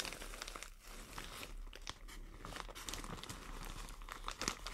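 Long nails scratch and crumple a white plastic shower cap with green print. The result is a steady, dense crinkling with sharp, bright crackles and scratches over a faint low hum, peaking near the end.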